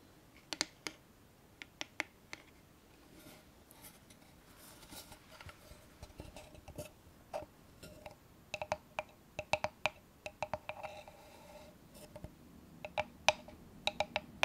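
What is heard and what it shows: Long painted nails tap a small, hollow, closed antique-style wooden box with a metal latch, held in both hands close to the microphone. About two dozen short, crisp clicks ring briefly with a hollow, woody tone, some in quick pairs and clusters. Soft scratchy rustling fills the gaps between them.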